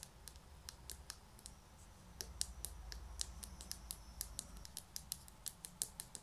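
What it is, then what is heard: Ceramic plant pot. A small white ceramic pot holding an artificial grass plant is held in both hands and tapped on its side with long natural nails. The taps come as a quick, irregular run of sharp, dry, bright clicks that die away almost instantly, over a low steady rumble.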